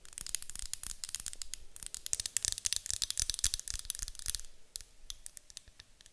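Long acrylic nails tap and scratch the sides of a medium white glass candle jar with a gold lid, apparently filled with wax. A rapid, dense run of sharp, bright clicks mixes with a hissy scratching texture; it is busiest in the middle and thins to sparser taps near the end.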